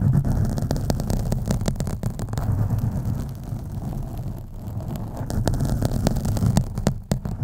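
Fingernails scratch the sides of a black foam microphone windscreen, producing a steady, deep, muffled rumble with dense low scratchy crackles. Brief sharper ticks poke through the rough texture, which dips quieter in the middle before building back up.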